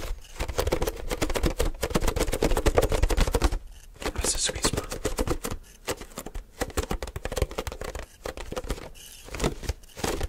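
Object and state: Empty plastic milk jug.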